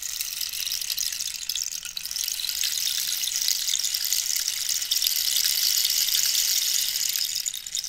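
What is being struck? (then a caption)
Dried cactus rainstick with loose pellets. A long, hollow dried-cactus wood rainstick is held and tilted, its inner pellets falling while long nails scratch and tap the ribbed wood. The result is a steady, bright, rain-like patter and hiss concentrated almost entirely in the high range. It swells slightly midway before easing off at the end.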